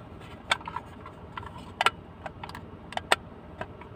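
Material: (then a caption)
Plastic. Fingertips and nails tap and scratch a small, hollow, blue plastic hinged case, first closed and then opened empty. About ten short, sharp, bright clicks and scrapes sound at irregular intervals, each dying away almost instantly, over a quiet, steady low background hiss.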